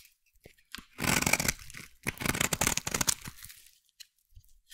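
A metal blade carves and scrapes a solid, hand-sized brown bar of soap, making two main bursts of dry, crunchy, tearing scrapes with a bright, crisp texture. Soft clicks and light scratches fall before, between and after the bursts. The cuts stop short with no ring.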